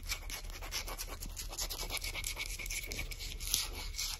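Long acrylic nails tap and scratch along the solid varnished wooden back of a shoe polishing brush marked with printed text. The result is a quick, steady run of dry, bright clicks and scraping over a low rumble.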